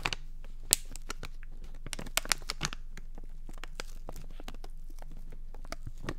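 Fingertips and nails scratch and crinkle a small flexible plastic Dentek floss pick bag held close. Sharp, bright crackles and crinkles pop out irregularly over a quiet, steady low hum, with the loudest snaps near the start and in the middle.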